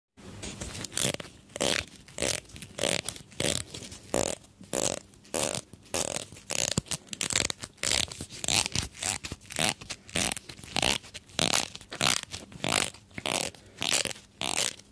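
A small, solid pink plastic hair comb is held in both hands close to the microphone while fingertips and nails run along and flick its teeth. The result is a rapid, somewhat uneven series of bright, crackly scratches and strums, each short and dry with almost no ring, mostly in the high range with little low end.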